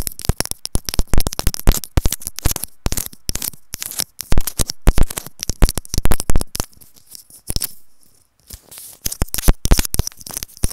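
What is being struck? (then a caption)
Plastic earphone inline remote. A white plastic inline earphone remote with a mic on its cable is scratched and tapped with long nails, close up. The result is a rapid run of sharp, crisp clicks and scratches with strong low thumps and bright hiss, pausing briefly near the eighth second before continuing.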